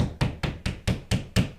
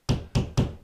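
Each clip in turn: First: drywall over a stud, solid. Second: hollow drywall between studs.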